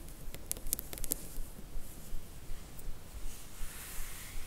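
Long fingernails tap and scratch the top and edges of a printed cardboard slipcase full of books, a Harry Potter book box set. A run of light, bright clicking taps comes first, then soft, dry scratching with a high hiss, all over a faint low rumble.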